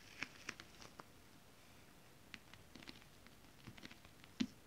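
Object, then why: Scale-print stretch fabric tapped and scratched with long nails. Long acrylic nails scratch and tap the surface of a flat, holographic, scale-print stretch fabric styled as mermaid scales. Quiet, dry, bright clicks and soft scratches land in scattered bursts over a low hush, each dying away almost at once. A louder, sharper tap comes near the end.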